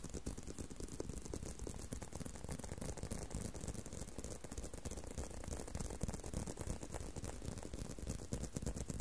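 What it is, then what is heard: Leather belt. A leather belt is tapped and handled, producing a steady stream of quick, dry taps and rattling, ratchet-like clicks. The sound is quiet and weighted toward low thuds, with each tap dying away almost at once.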